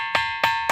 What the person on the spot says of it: ఇది కొడితే కొంచం డిఫరెంట్ సౌండ్ వస్తున్నది